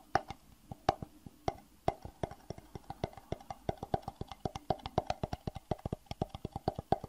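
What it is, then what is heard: Empty clear plastic box. A small, empty, hollow rectangular box of clear plastic (acrylic), held in the hands, is tapped with the fingertips in a quick, uneven rhythm. About 45 short, dry knocks have a hollow tone around 770 Hz, each dying away almost at once, with some louder accented taps among softer ones.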